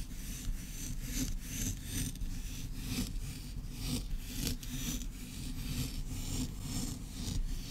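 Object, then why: Kinetic sand on a wooden board. Long red nails scratch and dig into flattened pink kinetic sand on a wooden board, leaving crumbly grooves in the granular, solid mass. The result is a steady, rhythmic rasping with bright, gritty swishes over a low rumble.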